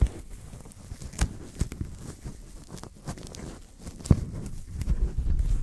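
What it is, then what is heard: Paper napkins being crinkled. A few folded thin white paper napkins are held close to the microphone while fingers rub and crinkle them. The result is soft, low-heavy rustling and crinkling with several sharp brief crackles standing out above the steady rubbing.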